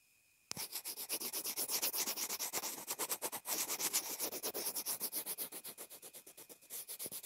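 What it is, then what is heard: Plastic earphone remote scratched with a pencil. A pencil tip sketches and scratches across the housing of a small white plastic inline earphone remote and mic that is taped down. About forty quick, rhythmic strokes make a dry, bright, scratchy rubbing with almost no low end, each stroke stopping short with no ring.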